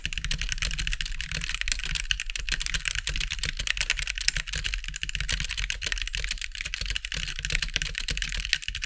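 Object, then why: Mechanical keyboard with plastic keycaps. A compact backlit plastic mechanical keyboard with white plastic keycaps is typed on with the fingertips of both hands. The result is a steady, fast stream of short, bright clicks with very little ring, over a low steady hum.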